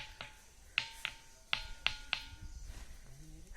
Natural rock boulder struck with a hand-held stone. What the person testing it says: अलग अलग जगह ठोको, अलग अलग आवाज आएगी